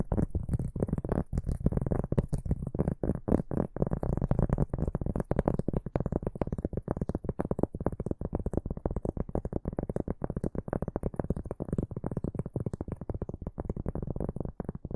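A large, round, flat, solid cork board held upright is scratched and tapped with the fingertips and short nails of both hands. The result is a steady stream of rapid, dull, low thuds with very short decay, over a faint high scratchy hiss.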